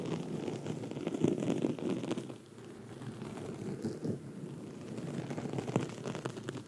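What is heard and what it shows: Long red nails scratch a black foam microphone windscreen while hands stay held on it the whole time. The result is a dense, muffled crackling and rustling, mostly low and mid in tone, with a few sharper pops. It softens briefly in the middle before picking up again.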